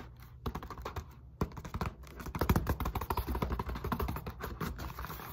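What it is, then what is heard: Foam roller tapped and scratched with nails. Long nails tap and scratch rapidly along the textured surface of a solid black molded polyethylene foam roller lying across a lap. The result is a dense run of short, dry, dull clicks and soft scratches, heavy in the low end, that stop dead without ringing.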